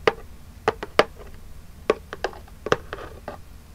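Long jeweled acrylic nails tap the lid of a small, flat, printed cardboard Birchbox gift box, which is hollow and held upright in both hands. About ten short, dry, clicky taps land at an uneven pace, each with a hollow mid-pitched knock and almost no ring.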